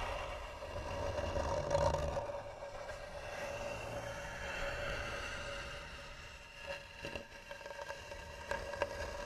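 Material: Wood.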